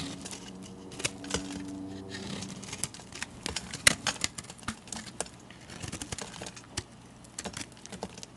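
A metal blade scrapes and carves crumbly shavings from a solid bar of multicolored chunk soap held in the hand. A quick series of short, bright, dry crackling scrapes and clicks rises over a quiet background, with a faint low steady hum in the first couple of seconds.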